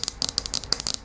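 Rapid, light tapping on the plastic lower base of a lava lamp produces a quick, uneven series of dry, high-pitched clicks with almost no ring. The sound is duller and more rattly than tapping on the lamp's glass.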